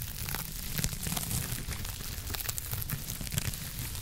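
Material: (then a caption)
Foam. A hand-sized, soft, blue textured foam scrub sponge is scratched with long acrylic nails close to the microphone. The result is a steady, dense scratching and crinkling texture with bright, hissy high detail over a low, rumbly body, dotted with quick crackly accents that die away instantly.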